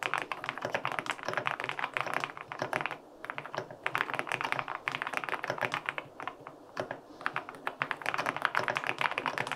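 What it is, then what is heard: Aluminum mechanical keyboard with plastic keycaps. Fingertips type rapidly on a white LINK65 mechanical keyboard with an aluminum case and white and pink plastic keycaps. The result is a dense stream of short, crisp, clacky key taps with bright, high-end snap and little low-end thud. The typing comes in bursts separated by brief pauses.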